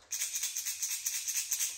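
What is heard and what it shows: A plastic Rat-L-Trap lipless crankbait lure with BB rattles is shaken by hand, the first of two baits in a side-by-side rattle comparison. It gives a quick, bright, high-pitched clattering rattle, nearly all treble, in a continuous run of short pulses.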